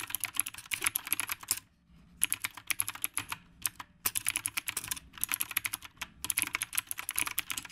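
Both hands type continuously with their fingertips on a retro typewriter-style mechanical keyboard with a dark metal/plastic body, round plastic keycaps, and a phone resting in its stand. Rapid, bright, crisp key clicks clatter in quick bursts, with brief pauses between runs, each click dying away almost instantly with very little low end.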